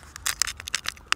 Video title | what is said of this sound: The Friendly Agenda visit the Shoreham Fort | it really sounds like plastic. Yeah. Feels like plastic.